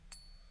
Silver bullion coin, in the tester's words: that sounds a much nicer richer sound